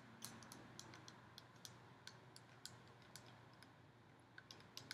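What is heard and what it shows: Long nails tap and scratch a hollow, ribbed gold metal decorative pumpkin held close to the mic. The result is a quiet series of sharp, bright clicks and short metallic pings that die away almost at once, over a soft, steady scratching hiss.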